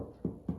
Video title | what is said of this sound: Sourdough Bread Start to Finish - First time experience | if you knock on it and if it sounds hollow then it's ready